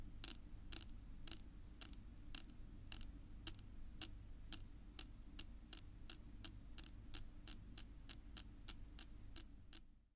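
Long pink nails tap slowly and steadily on a flat, solid dark wood-grain tabletop, each tap a short, bright click that dies away almost at once. A steady low hum runs underneath throughout, and the sound fades out at the very end.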